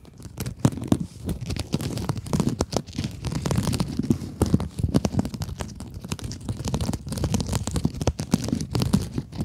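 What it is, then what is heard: Mesh scrub sponge scratched with long nails. Long acrylic nails scratch across a pink rectangular scrub sponge, a glittery woven synthetic mesh over a soft foam core held upright. The result is a dense, continuous stream of dry, rapid scratchy crackles and rasps, weighted low with a dull rumble beneath, in uneven waves with no ring.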